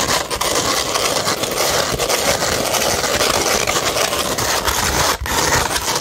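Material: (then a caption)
Sandpaper. Long pointed red nails scratch a flat beige 100-grit sandpaper sheet. The result is a steady, dense, gritty rasping with bright, hissy texture and little low end, continuing almost without pause except for a brief dip near the end.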